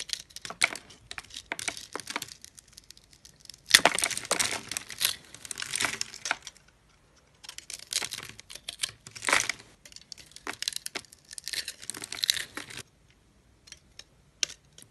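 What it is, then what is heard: Dry soap bar crumbling. A yellow utility knife blade scrapes along the edge of a solid, yellow-green bar of dry soap held in the hand, crumbling off the small cubes scored into it. The result is dry, crunchy crackling that is bright and high with almost no low end, coming in bursts with short quiet gaps near 7 and 13 seconds.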